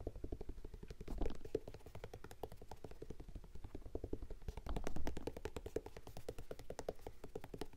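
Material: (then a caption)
Canvas, suede. Fingertips tap rapidly on the printed canvas and suede upper and the white rubber sole of an empty lavender Vans-style high-top sneaker held up close. The result is a dense, steady stream of soft, dull low thuds that die away almost instantly, with a couple of slightly louder bursts.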